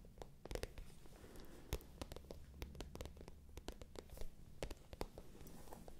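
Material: Faux leather.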